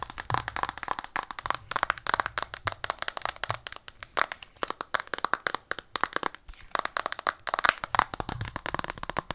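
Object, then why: Plastic handheld game console with glass screen. Long dark nails tap rapidly on the casing and glass screen of a plastic Nintendo Switch console with red and blue Joy-Cons, held close to the mic. The result is a dense run of sharp, dry clicks and crackles with almost no ring or low end.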